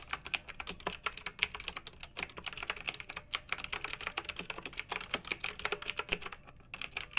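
Fingertips with long nails type rapidly on a pink backlit, typewriter-style plastic mechanical keyboard with round metal-rimmed keycaps. The result is a steady stream of bright, crisp clicks and clacks that decay almost instantly, with a brief pause near the end before the typing resumes.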